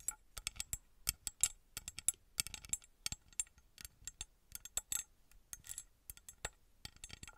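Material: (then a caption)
Metal. A small copper-coloured ornate metal pyramid figurine held in the hand is tapped and scratched with long red nails. The result is a quick, irregular run of sharp, bright metallic clicks and ticks with short scratchy bursts, each dying away almost at once with little low end.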